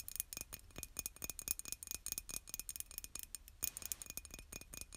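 Long nails tap rapidly on the outer wall and handle of a hollow, white glazed ceramic mug. The result is a quiet run of sharp, bright clicks that die away almost instantly, with a faint glassy ring.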